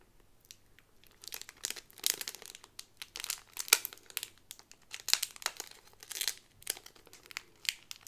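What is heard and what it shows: Fingers with long nails crinkle the clear plastic bag holding an Aristocats pin on a white cardboard card with paw prints. Quiet, bright, papery crackles come in irregular bursts throughout, with almost no low end and no ring after each crinkle.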